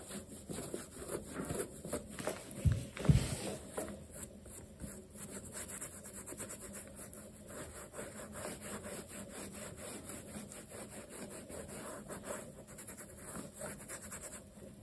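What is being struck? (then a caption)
Leather sneaker upper. Fingertips wrapped in a dark cloth rub in circles over the upper of a black leather laceless sneaker, which is hollow, stuffed with a cloth and held on a towel. A soft, steady, low swishing repeats at a moderate pace, with two louder thumps near the three-second mark.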